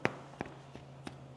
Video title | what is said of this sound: 4 Easy Homemade Breads You’ll Actually Want to Bake | my whole meal doesn't quite sound like it's quite there